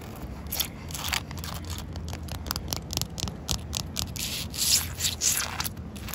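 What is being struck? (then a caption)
Concrete paving slab. Long coral acrylic nails scratch along the surface and dark joint lines of solid, rain-wet concrete paving slabs. The result is a run of bright, gritty rasping strokes in quick succession over a steady low rumble.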